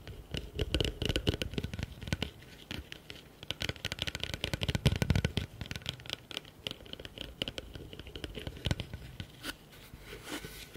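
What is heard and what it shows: Fingertips and nails rapidly tap and scratch the outside of a hollow, empty blue plastic bucket turned with its open side facing forward. Dense, fast taps give short, dry hollow thumps with a low body, layered with bright, raspy scratching. Each hit dies away almost instantly, with louder bursts scattered throughout the clip.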